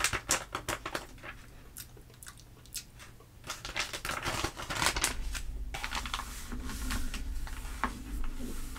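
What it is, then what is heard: Glossy paper magazine. Fingertips and long nails rub and pat across the spread pages of an open glossy paper trade magazine, making irregular crisp taps and dry scratchy rubs. Around the middle, a page is turned with a louder papery sweep, followed by steady, bright crinkling and rustling until the end.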